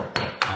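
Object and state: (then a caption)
Hollow-sounding concrete slab beside a crack. Two hammer taps on an old stamped-concrete pool deck beside a routed crack that has been filled with dry sand. Each tap gives a short knock with a hollow ring. The hollow sound points to a void between the slab and the ground beneath it.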